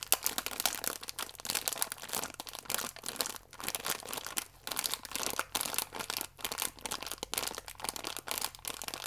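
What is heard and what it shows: A full, small plastic-film biscuit pack is gently crinkled between fingertips. Dense, bright crinkling and crackling come in bursts separated by brief quiet gaps, with almost no low end.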